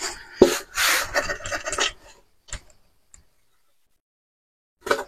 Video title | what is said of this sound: PRÉPA TURBO E36 320i (l'histoire des six pistons) #3 | je secoue ça fait du bruit